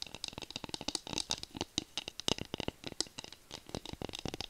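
Long nails rapidly tap and scratch along the handle of a solid bamboo wooden spatula held horizontally. About 25 quick, dry, bright clicks and scrapes patter out with no ring, at a quiet level. The result is an uneven rattling texture.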